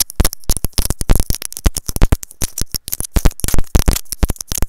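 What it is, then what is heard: Plastic earphone inline microphone tapped. A small white plastic earphone inline microphone on its cable is tapped and scratched with long nails, heard up close through the mic itself. Rapid, irregular bursts of dull thumps and crackly scratches come in quick succession, with a deep boomy body and brief bright clicks on top, each sound dying away almost instantly.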